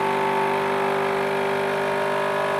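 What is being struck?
Nothing is struck.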